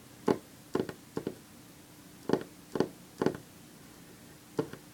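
Long fingernails of one hand tap on a few loose sheets of printed paper lying on a wooden table. Ten short, dry clicking taps sound at an irregular pace, several in quick pairs, each fading almost instantly.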